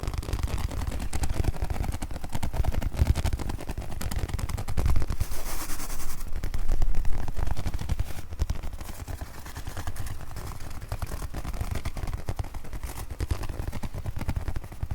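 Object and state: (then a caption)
Pencil case. A pencil case is tapped, scratched and gripped, mostly scratched, in fast, irregular bursts of dense, crackly contact noise. The sound is heavy in the low end, with short dry hits and little ring.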